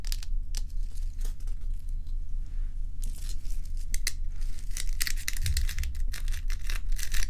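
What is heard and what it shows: Long pointed acrylic nails scratch and tap the top surface of a large, solid, clear-and-frosted ice block resting on a dark towel. Bright, dry scratching strokes and short clicking taps come in quick succession over a constant low hum, growing busier toward the end.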